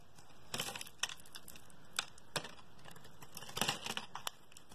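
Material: Soap.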